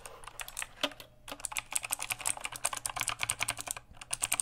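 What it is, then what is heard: Plastic mechanical keyboard being typed on. Fingertips type and tap fast on the plastic keycaps of a full-size backlit mechanical keyboard. A rapid, steady stream of bright, dry key clicks fills the clip, broken by a brief pause near the one-second mark before the typing resumes at the same quick pace.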